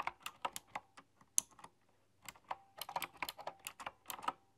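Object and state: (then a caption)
Typewriter-style mechanical keyboard being typed on. Fingertips and nails type continuously on a typewriter-style mechanical keyboard with round metal-rimmed keys. The result is a run of quick, bright, clicky keystrokes with very short decay and a brief pause midway. One sharper, louder clack rings high near the start.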